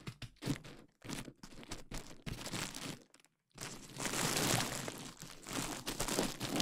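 Long nails and fingertips scratch, tap and pop clear plastic bubble wrap covering a KU100 dummy head microphone. Short bursts of dry crinkling and crackling give way to a brief silence, then a denser, louder run of bright rustling and popping to the end.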